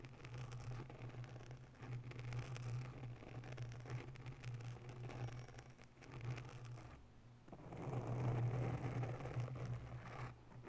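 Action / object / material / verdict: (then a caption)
scrape / foam microphone windscreen / foam / none. Long nails of both hands rapidly scratch the sides of a grey oval foam windscreen on a microphone in a white holder. The result is a dense, low, muffled scraping and rustling with a steady hum near 120 Hz. It dips briefly around seven seconds, then swells louder toward the end.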